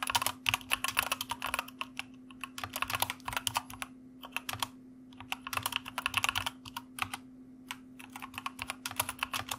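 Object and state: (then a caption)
Mechanical computer keyboard being typed on. Fingertips of both hands type on a white plastic mechanical computer keyboard in quick bursts of sharp, bright clicking keystrokes separated by short pauses. A faint steady low hum runs underneath throughout.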